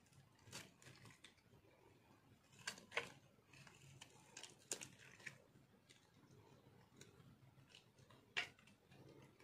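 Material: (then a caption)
Soap. A dry, marbled multicolor soap bar is held in hand while a metal cutter slices and scrapes brittle pieces off its top. Quiet, bright crunching and scraping is broken by sharp, crisp cracks as chunks snap away.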